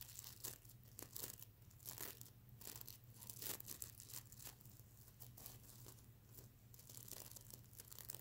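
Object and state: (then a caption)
Plastic sequin pillow being scratched. Fingernails scratch across a soft stuffed mermaid unicorn plush pillow covered in reversible plastic sequins, flipping the sequins over. The result is a quiet, continuous run of bright, crinkly scratching bursts over a steady low hum.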